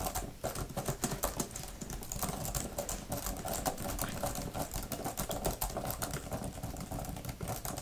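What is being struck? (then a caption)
Plastic laptop keyboard cover. Long nails type rapidly on a grey, thin plastic laptop type-cover keyboard with flat plastic keys. A dense, steady stream of quick, short clacks and taps runs throughout, with bright clicky edges over a soft, hollow low thud from the cover.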